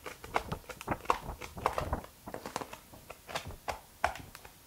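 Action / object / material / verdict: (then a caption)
tap / paperback book with paper pages / paper / none. Fingertips riffle and flip through the page edges of a thick, solid blue and white softcover paperback book, *Gestion Financière*, held in one hand, and rub its cover. A quick, irregular run of short, dry papery ticks and flicks sounds with no ring, mostly in the mid range with soft brushing between them.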